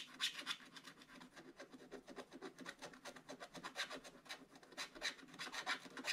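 A wooden stylus scratches back and forth across a black-coated scratch-art paper page in an open book. It makes a rapid, uneven series of short, dry rasping strokes. The sound is bright and hissy with almost no low end, and each stroke stops quickly.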